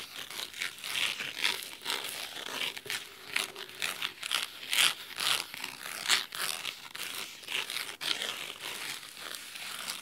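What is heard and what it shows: Fingernails scratch the red cloth spine of a large, thick, solid fabric-covered hardcover book. The result is a run of dry, crisp, bright scratching strokes in uneven bursts, with little low end and almost no ring after each stroke.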